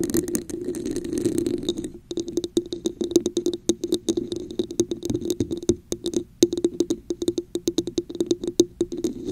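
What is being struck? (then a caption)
Textured plastic cup. A hollow red textured plastic cup held over a microphone is tapped and scratched with long acrylic nails. A dense, resonant scratching fills the first two seconds, then many quick, dry taps and clicks follow with short pauses, all over a steady hollow tone and a bright clicky edge.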